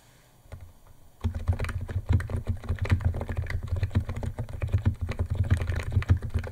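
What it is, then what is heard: Plastic keyboard typing. A white compact 68-key Niz ATOM 68 plastic mechanical keyboard with electro-capacitive switches, white plastic keycaps and a plastic case sits on a wooden desk while the fingertips of both hands press its keys in fast typing. After about a second of near quiet, a dense, steady stream of short, deep, muted clacks runs to the end, each keystroke dying away almost instantly.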